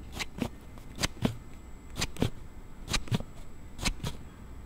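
A thumb slides a plastic slide case on a Galaxy Note7 smartphone open and closed, making sharp, dry rubbing clicks with a bright scrape. About ten clicks come in quick open-and-close pairs over the clip, each dying away almost at once.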